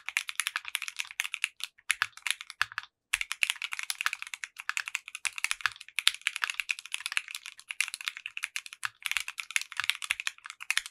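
A compact 60% mechanical keyboard with clear pink polycarbonate keycaps and a translucent case is typed on with the fingertips of both hands. It produces a rapid, continuous run of short, bright clicky keystrokes with very little low end and no ring. There is one brief pause around the three-second mark.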